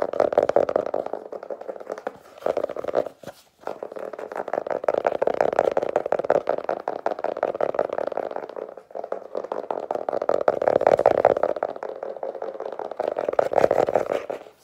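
A small, solid hardcover notebook with an illustrated paper cover over cardboard boards is held in one hand and tapped and scratched on the cover with long nails and fingertips. The result is a fast, dense run of dry, short clicking taps and scratchy rasps centered in the midrange, with brief pauses around 3 and 9 seconds.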